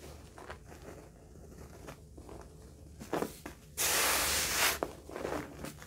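A bare hand with painted nails rubs and swirls through a thick layer of loose white carpet freshener powder spread on a flat yellow table, drawing circles down to the surface. Soft, grainy rubbing and scratching build to a loud, bright hissing swipe near the end, followed by quieter swirling.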